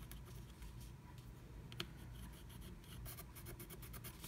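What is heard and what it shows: A wooden stylus scratches a black-coated scratch art card under a blue stencil to fill in letters, flaking off the coating. Soft, steady scratching strokes with bright, hissy bursts sit over a quiet low rumble, with one sharper tick partway through.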